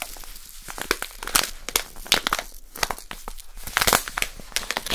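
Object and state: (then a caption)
Plastic packet of poppy seeds. A small, full plastic packet of poppy seeds is crinkled and squeezed between fingers with long nails. It gives a dense run of sharp, bright crinkles and crackles with uneven swells in loudness over five seconds.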